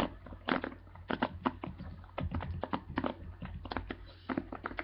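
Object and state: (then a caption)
Plastic paddle hairbrush bristles. Fingers and nails scratch and flick the dense plastic bristles of a black plastic paddle hairbrush held close up. A rapid, irregular series of dry, crackly ticks and brief scratches rises and falls over a steady low hum, each flick dying away almost instantly.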